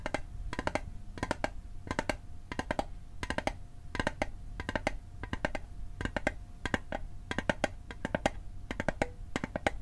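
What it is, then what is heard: Metal mint tin. Fingertips tap the sides of a small, hollow, rectangular metal Altoids mint tin held on its edge, producing quick clusters of short, dry clicks. The taps come in rapid bursts with a bright metallic edge and a faint tinny tone around 590 Hz. Each tap dies away almost at once.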